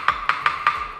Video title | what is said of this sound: 磁針研磨機│2.0版升級內容│強度示範、說明│Upgraded Magnetic Polisher 2.0 | To knock on it, the sound is sharp and loud.